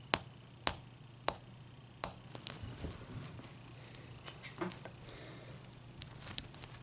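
A clear, solid ice cube is held and then set on a towel, where long dark-painted nails tap and scratch it. Four sharp, bright clicks ring out first, each decaying almost instantly, followed by a softer stretch of scraping and lighter ticks over a low background hum.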